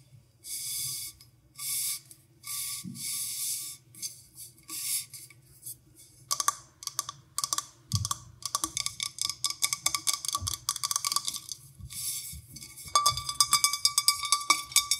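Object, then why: Glass drinking tumbler. Long nails tap and click along the outer surface of an empty, hollow clear drinking glass with white printed lettering, held sideways in the hand over dried rose petals. The first few seconds bring short bursts of bright, airy swishes. These give way to quick, uneven runs of sharp, bright clicks with almost no ring, growing denser toward the end.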